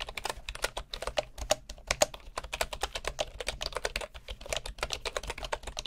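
Both hands type with their fingertips on a bamboo computer keyboard with wooden keycaps, producing a rapid, steady stream of short, dry clicks and clacks. The taps have a woody tone centered around 600 Hz with a bright, crisp edge, and each one dies away almost instantly over a faint low background hum.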